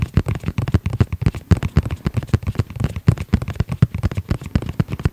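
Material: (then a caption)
EVA foam. Fingertips tap rapidly across the surface of a flat, rigid, hollow hard-shell EVA zip pouch about the size of a tablet, with a dark gray fabric-covered shell and a red zipper edge, held close to the mic. The result is a rapid, uneven stream of dry, hollow, low thuds that stop almost instantly, with very little bright content.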